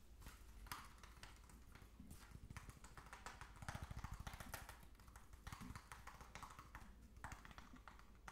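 A small, hollow plastic jar of fish food with a blue plastic screw lid and some contents inside is held in both hands and tapped rapidly with fingertips and nails on the lid and sides. The result is a fast, uneven stream of dull, hollow thumps with bright, clicky nail ticks. Each tap dies away almost instantly.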